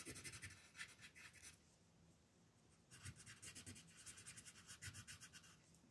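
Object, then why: Colored pencil on a paper sheet. A yellow colored pencil scratches across a flat paper mandala coloring page lying on a table in quick shading strokes. It makes a bright, papery rasp of rapid back-and-forth strokes, with a brief softer stretch before the fast shading resumes.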